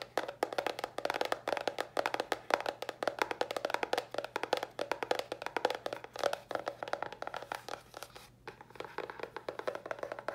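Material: Cardboard.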